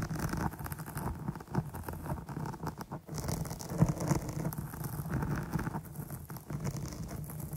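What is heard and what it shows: Long nails from both hands scratch the top of a soft, dark foam microphone windscreen. The result is a steady, muffled patter of dense scratching and rustling, heavy in the low end, with occasional slightly louder scrapes.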